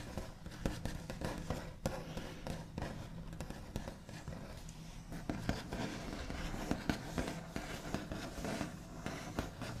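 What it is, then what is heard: Wooden tabletop, nail tapping. The backs of the nails on both hands do scratchy tapping across a large, flat, solid wooden tabletop with a smooth white finish. The result is a steady stream of quick, dull knocks mixed with light scraping, heavy in low thuds, with a brief dry ring after each hit.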